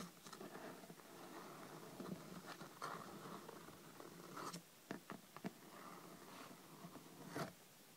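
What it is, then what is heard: Hardcover book, scratched and tapped. Long red nails scratch and tap the top cover and edges of a thick, solid hardcover paper book lying flat on a table. Soft, continuous scratching is punctuated by about seven short, dry taps that stop instantly with no ring. The sound is quiet overall and mostly midrange.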